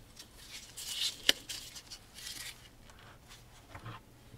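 A wide bristle paint brush held in a gloved hand is brushed along the carved grooves of a large, dark-stained wooden picture frame around a painting. The result is a dry, scratchy, hissy brushing that sits mostly in the high range, with one sharp tap standing out among the quieter strokes.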